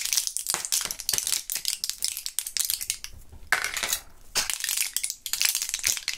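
Gloved fingertips crush and crinkle a small plastic and foil blister pack of purple Thrills gum. A continuous run of sharp, bright crackles and crinkles fills the clip, with almost no low end and a few brief softer lulls between bursts.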